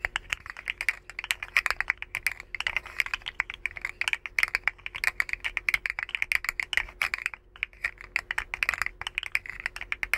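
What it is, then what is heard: Plastic articulated slug fidget toy. A rainbow, segmented, hollow plastic articulated slug fidget toy is curled and bent between both hands, making its segments click. Dozens of quick, dry, bright plastic clicks come in dense, uneven bursts for about ten seconds, centred around 2 kHz, with a brief lull just past the seven-second mark. Each click stops almost instantly.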